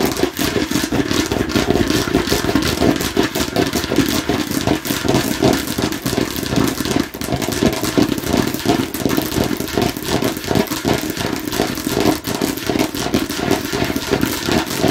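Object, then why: Hard plastic watermelon-slice container. Long nails tap fast on a hollow, hand-sized hard plastic container shaped like a watermelon slice. The result is a dense, steady stream of quick, dry clicks and clatter with a hollow midrange body and very short decay.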